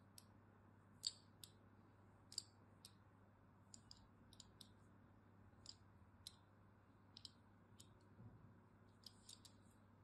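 A thin metal blade scores diagonal lines into a solid, cream-colored bar of soap held in the hand. The carving makes short, sharp, bright clicks and scratches at irregular intervals, each dying away almost at once, over a quiet, steady low hum.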